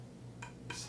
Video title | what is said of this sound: Shakuhachi Masterpiece - Shundo 2.0 | What you have going on in a shakuhachi is the density of the flute is actually changing. If I tap on it, it's solid.